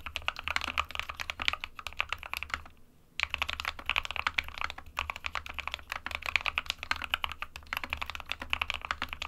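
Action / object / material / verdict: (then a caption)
tap / plastic mechanical keyboard / plastic / none. Fingertips of both hands type fast on an SK61 small 60% mechanical keyboard with a plastic case and plastic keycaps, hollow with switches inside, resting on a printed desk mat. Dense, bright plastic clacks run continuously, centred around 2.4 kHz, over a faint low hum, with a brief pause about a third of the way through. Each tap ends almost instantly with no ring.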